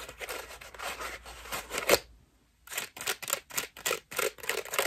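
Long nails scratch a cream foam bath loofah with a rope loop, making a dry, bright, hissy rasp with almost no low end. The scratching runs steadily for about two seconds and peaks in a sharper scrape. After a brief pause it resumes as a series of separate short strokes.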